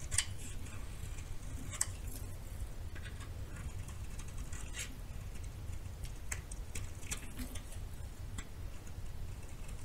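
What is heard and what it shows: A metal knife repeatedly scrapes and shaves the surface of a solid white bar of soap held in the hand. Quiet, dry scratchy ticks and short bright crackles are scattered over a steady low rumble, with a few sharper clicks standing out.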